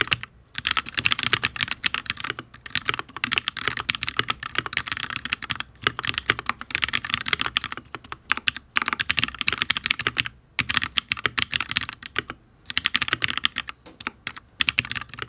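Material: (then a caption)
ABS plastic. Fingertips of both hands type on a full-size HyperX Alloy Origins RGB mechanical keyboard with Fire switches, ABS keycaps and a steel plate. The result is a fast, steady stream of short, bright, crisp taps with almost no low end, broken by a few brief pauses. It sounds solid.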